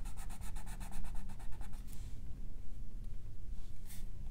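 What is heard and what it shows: A colored pencil held in the fingers is rubbed in short strokes over the drawing on a thin paper page of an open coloring book, making a continuous scratchy rub. Quick, bright, rhythmic strokes fill the first couple of seconds, then the rubbing turns softer and sparser, with one brief bright scratch near the end over a steady low hum.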